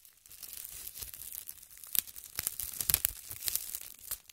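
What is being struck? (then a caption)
Thin plastic bag. A large, thin, empty, transparent plastic bag draped over a tripod microphone is scratched, pinched and crinkled with long red nails. The result is a quiet, steady, bright crackling and rustling, with sharper crinkly snaps standing out near the middle and end.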